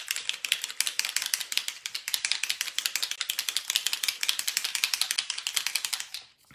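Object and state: Alcohol ink bottle with mixing ball rattling when shaken.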